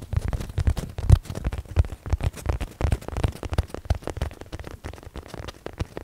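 Fingertips scratch and tap a medium padded blue nylon zip case held up in the air. The result is a dense, irregular stream of soft, dull taps and rustling scratches. Each tap is a short, low thud with almost no ring.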